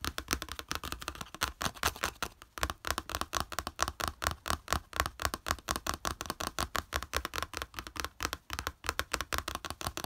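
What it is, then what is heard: Plastic plate. Fingertips and nails rapidly tap and flick the slotted raised edge of a small flat yellow plastic plate lying on beige fabric. A fast, steady stream of short, dry plastic clicks sounds with a bright, hard edge. Each click dies away almost at once.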